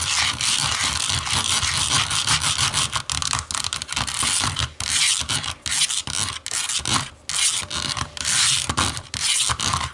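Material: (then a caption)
Plastic. Long nails tap and scratch the smooth back of a small, hollow black plastic remote control lying face down on a wooden table. A dense, steady stream of bright, dry scratching is broken by quick clicky taps with almost no ring, and the sound sits mostly in the high range with little low end.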